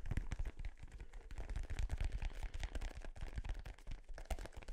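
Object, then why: Small inflated synthetic-leather soccer ball. A small, hollow, inflated dark-blue synthetic-leather soccer ball with yellow print is held in front of the microphone and tapped and scratched with fingertips and nails. Rapid, continuous dull, low thumps dominate, with faint scratchy brushing between them, each tap dying away almost instantly.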